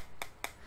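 Two sharp knocks on the one-piece aluminum alloy back cover of a BOOX Tab Ultra e-ink tablet, which is formed together with its four sides. Each knock is a short, bright click with almost no ring, and the back sounds very solid.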